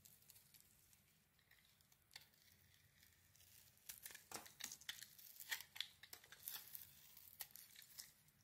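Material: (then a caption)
Soap. A solid rectangular white soap bar with a glitter coating, held in the hand, is scraped and shaved with a metal blade. Quiet, bright, crinkly scraping builds into a series of sharp, dry shaving strokes that grow louder in the second half. Each stroke cuts off almost at once.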